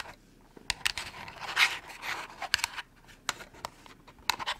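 Long nails tap and scratch a small, hollow, white printed cardboard product box. Sharp, dry clicks are scattered among bright, papery scraping sounds, with almost no low end. Each tap dies away instantly.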